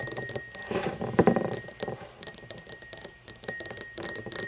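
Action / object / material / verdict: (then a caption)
tap / cut crystal drinking glass / crystal glass / none. An empty, hollow, tall cut-crystal drinking glass tumbler standing upright on a wooden table is tapped and scratched with long blue-painted fingernails. The result is a quick, irregular run of bright, clicky taps with short glassy rings that die away almost at once, mixed with soft scraping. A faint steady tone near 2 kHz runs underneath.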